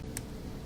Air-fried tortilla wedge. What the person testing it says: listen to how crispy those are